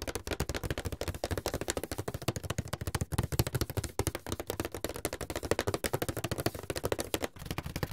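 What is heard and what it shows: Fingertips tap and drum on the lid of a medium, closed, hollow white paperboard box. A rapid, steady run of around 55 dry, hollow thumps, low and boomy with a short, dead decay.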